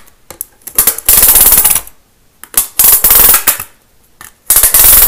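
A thin green plastic Lego baseplate, held in one hand, has its studs scratched fast with a pen-like tool. Bursts of dense, bright, rattling scratching alternate with short near-silent pauses, with a few sharp clicks in between.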